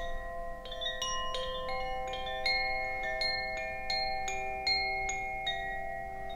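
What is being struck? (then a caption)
Bamboo wind chime with metal rods. A bamboo Koshi wind chime, a hollow bamboo cylinder with metal rods inside and a wooden sail, hangs from raised fingers and is swung and shaken so its clapper strikes the rods. Clear, bright metallic tones ring out at an irregular pace, each note sustaining and overlapping the next into a shimmering wash of high pitches over a soft background hiss.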